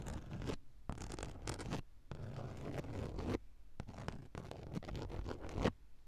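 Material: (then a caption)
Woven fabric. Long acrylic nails scratch along the grey woven fabric of a padded car seat. Dry, rasping scrapes come in several strokes of about half a second to a second, separated by brief pauses. The strokes have a muffled low-end body and no ringing after each pass.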